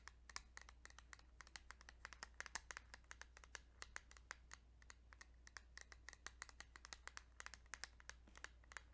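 Fingertips tap rapidly and lightly on a plastic Kirby's Dream Land 2 Game Boy cartridge, making a quick run of dry, bright clicks that die away almost instantly. A steady low hum runs quietly underneath throughout.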